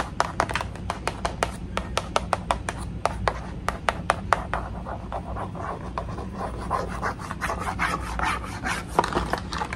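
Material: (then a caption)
Cardboard. Long acrylic nails scratch and rub across the flat, thin, solid white printed cardboard backing card of a tea set package. Quick, sharp dry clicks and taps ring out in the first half over a low steady hum. Softer, continuous scratchy rubbing follows in the second half.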